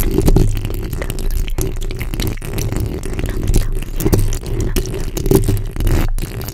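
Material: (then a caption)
Steel mesh. The backs of long nails scratch across the top of a black condenser microphone's hollow steel mesh grille. The result is a dense, continuous scraping and rattling texture that is heavy in low, boomy rumble, with many quick clicks and little high-end brightness. The level stays fairly steady with small surges throughout.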